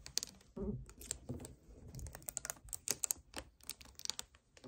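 Fingertips and nails tap and scratch near the neck and shoulders of a hollow 1 L white plastic strawberry kefir bottle standing on a table. The result is a quick, uneven run of dry, bright clicks that stop instantly, mixed with soft scratchy rustling and a faint low thump or two.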